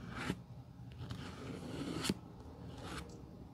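A worn tan leather forepart sole of a black shoe, held in hand, is brushed with a metal-handled bristle brush spreading dark glue. Soft, low scrubbing strokes rasp across the leather, broken by a few brighter, sharper bristle swipes.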